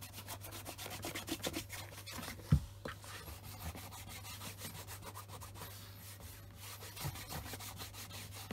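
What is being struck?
Leather shoe.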